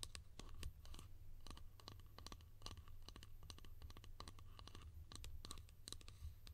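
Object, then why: Small plastic lid. A small, hollow yellow plastic lid held in the hands is tapped and scratched rapidly with long painted nails. The sound is a dense run of sharp, bright clicks and scratchy strokes that stop almost instantly. A steady low rumble sits underneath the whole clip.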